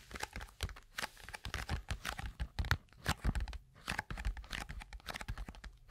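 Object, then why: Small cardboard box. A small, hollow, closed white-and-pink cardboard box is held in the hands close to a microphone and handled, scratched and tapped with long acrylic nails. This makes a dense run of crinkly, paper-like crackles and taps with soft, dull thumps underneath. The short, dry clicks have bright edges.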